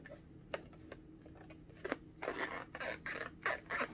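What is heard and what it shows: A small pink inflated latex balloon, hollow and air-filled, is held in both hands and tapped and scratched with long orange-painted nails. A few sharp, quiet taps come first, followed by louder bursts of bright, rasping scratching across the rubber surface with a faint low hum underneath.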